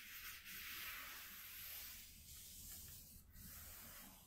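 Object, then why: Corrugated cardboard sheet. Fingertips with short nails scratch and rub a flat piece of white corrugated cardboard from a shoe box. The result is a continuous, quiet, bright scratchy hiss with a soft low rumble underneath and brief dips in loudness, but no distinct taps.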